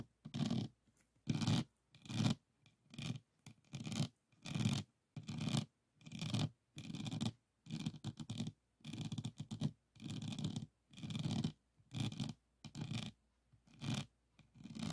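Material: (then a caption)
Plastic resin. Fingernails of both hands scratch over the faceted plastic resin drills of a small, rigid, framed diamond painting board resting on a table. The result is a series of short, irregular, raspy scratching strokes with a low rumbly body and a faint bright edge, separated by brief pauses.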